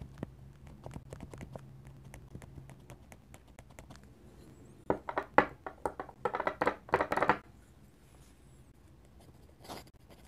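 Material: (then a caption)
Paper. A steel dip pen nib scratches lines and taps dots on a flat paper sketchbook page. Faint, quick ticks over a low steady hum give way to a louder run of sharp, bright scratchy strokes in the middle, then one last brief scratch near the end.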